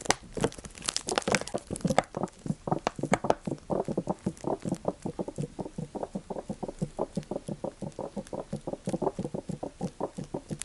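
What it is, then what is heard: Plastic oil bottle tapped and crinkled. A large clear PET plastic bottle of sunflower oil with a green cap, partly full of yellow oil, is held in the hands and crinkled and tapped with the fingertips. It opens with about two seconds of dense plastic crinkling, then settles into a steady run of quick, dull, short taps.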